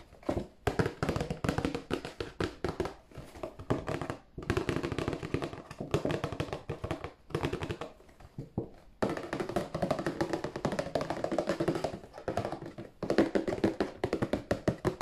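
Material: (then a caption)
Cardboard. Fingers tap rapidly and continuously on a cardboard tissue box, producing dense, dull, short taps with very little ring. The tapping comes in bursts with brief pauses between them.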